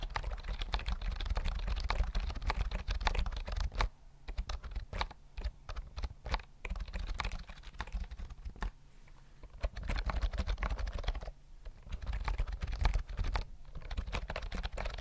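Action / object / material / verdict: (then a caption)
tap / plastic computer keyboard with round keys / plastic / none. A full-size white plastic keyboard with round mint keys and a hollow body is held near the mic and typed on with fingertips. A steady stream of short, clacky keystrokes with a deep, hollow thump underneath thins to sparser taps in the middle. It then picks back up into quick, continuous typing.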